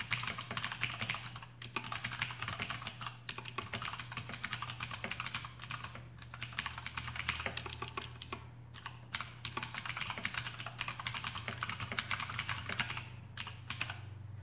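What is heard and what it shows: Fingertips of both hands type rapidly on a full-size black plastic AUKEY KM-G6 mechanical keyboard with RGB backlight and clicky Outemu blue switches, resting on a desk mat. A dense, continuous stream of sharp, bright clicks with very short decay runs throughout, with a few brief pauses. A steady low hum and a faint high tone sit underneath.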